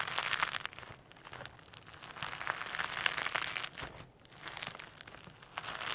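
Firm slime with extra loose holographic sequins mixed in sits on a table and is pulled apart and pressed with the fingertips. It gives dense, bright crinkling and crackling, full of sharp little clicks in irregular bursts, with quieter stretches between the pulls.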